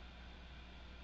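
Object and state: Nothing is struck.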